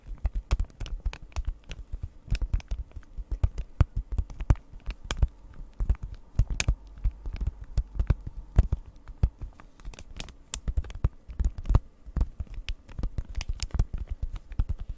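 A flat printed cardboard cross-stitch kit in clear plastic wrap is tapped rapidly with long nails. The sound is a steady run of dry, short clicks and taps with a low, muffled thud and a faint crinkly edge. Each tap dies away almost instantly.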